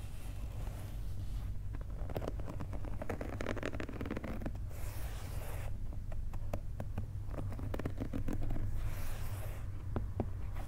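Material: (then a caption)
Rubber. Fingernails scratch and tap across the textured, translucent pink rubber outsole of a Nike Dunk sneaker lying on its side. Sharp, dry clicks and taps are scattered among bursts of bright scraping, over a steady low rumble. The taps are short and don't ring.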